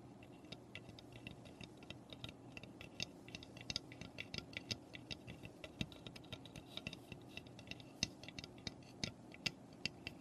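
Long painted nails tap and scratch the roof and front of a small, hollow, unfinished raw pine birdhouse standing on paper. The result is a quiet, steady run of short, bright, dry clicks with light scratching between them and almost no ring, over a faint low hum.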